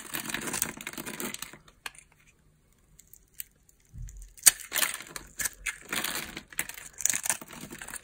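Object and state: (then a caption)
Dry bar soap being cut. A metal knife blade scrapes across the scored surface of a solid yellow dry soap bar resting on an open palm, cutting and crunching off small cubes. Bright, dry crunching and crackling scrapes fill the opening, fade to near silence with a few faint ticks, then return in a denser series of sharp crunches.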